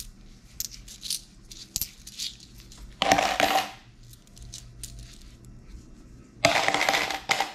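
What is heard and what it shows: A few small metal coins, copper-colored pennies and gold-colored dollar coins, are held in a palm and sorted by fingers in thin plastic gloves. The coins give soft, bright clinks against each other as they are moved, with two louder bursts of jingling and rattling when they are dropped.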